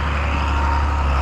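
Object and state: Nothing is struck.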